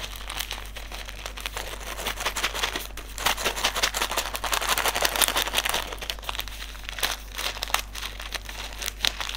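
Fingertips squeeze, crinkle and rub a small white silica gel desiccant sachet filled with silica beads. This produces a dense, bright crackling with irregular bursts of tiny clicks and rustles over a steady low hum.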